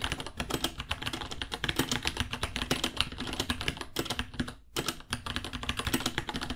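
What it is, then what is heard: Plastic mechanical keyboard. Fingertips of both hands type steadily on a white 66-key plastic mechanical keyboard, about 30 cm, with plastic keycaps and a hollow case. Rapid, bright, clacky keystrokes overlap with a low hollow thump, pausing briefly near the end before resuming.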